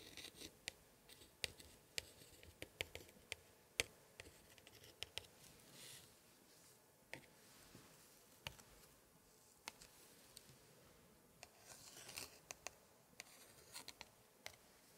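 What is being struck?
Thick old paper scrapbook pages.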